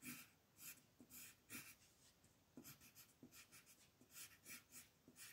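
A reddish-brown colored pencil scratches strokes onto a thin white coloring book page lying flat, outlining a tree trunk. Quiet, bright, papery scratching comes in short repeated bursts with brief pauses between strokes.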